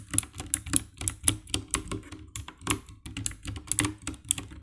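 Fingertips type on the keycaps of a compact 60% black plastic mechanical keyboard with RGB backlight, giving quick, irregular clacks of key presses. Each press is short and dry with a bright high click over a low thock, and the presses come in an uneven typing rhythm.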